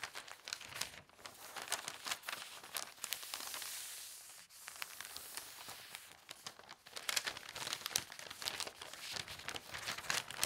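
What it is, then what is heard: Newspaper sheet being folded. A single large, thin newspaper sheet is folded into a triangle while fingertips and nails press and rub along the folds. The result is a dense run of bright, crisp crinkling and rustling with sharp crackles and almost no low end. A smoother stretch of sliding paper sits near the middle.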